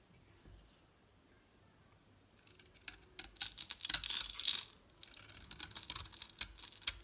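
A solid green oval bar of soap is held in the hand and scraped and shaved with a metal utility knife blade, peeling off curling flakes. After about two quiet seconds, dry, bright scraping and crisp crackling strokes begin, swelling to their loudest in the middle. Shorter irregular shaving scrapes then continue to the end.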